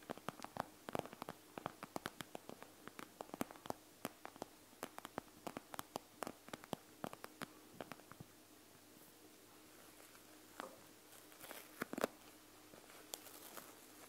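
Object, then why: Plastic gel bead eye mask. Long nails scratch and tap the plastic, gel-bead surface of a panda gel bead eye mask with both hands, making quick, dry, bright clicks and soft scratchy rustles. The tapping is dense and rapid for the first eight seconds, then thins to quieter scratching with a few sharper, isolated taps near the end.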